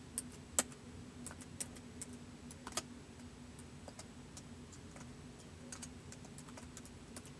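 Fingertips type slowly on a white plastic laptop keyboard, making sparse, irregular, short bright clicks with a few sharper taps near the start. The quiet clicks sit over a steady low background hum.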